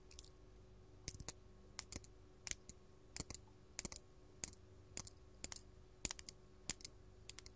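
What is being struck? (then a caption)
Faceted glass crystal gem. A large, solid, faceted purple glass crystal held in the hand is tapped with long gold metal filigree claw nails. Quiet, sharp, bright clicks come in quick clusters of two or three, each dying away almost instantly with no ringing. Only a faint low hum sits underneath.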